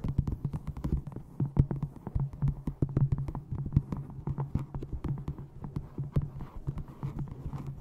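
A small hardcover book with a textured brown faux leather cover, held upright in front of a microphone, is tapped rapidly with long painted nails and fingertips. The result is a dense stream of short, dull, low-pitched taps and light clicks with almost no ring, over a faint steady low hum.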